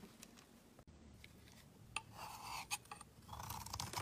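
A utility knife blade carves a solid black Kappus soap bar held in the hand, curling shavings off. Soft, bright scraping and rasping strokes alternate with a couple of sharp little clicks where the blade bites in, all at a quiet, close level.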